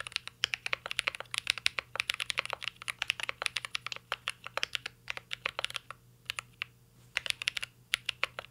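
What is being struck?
Mechanical keyboard with plastic keycaps and aluminum case.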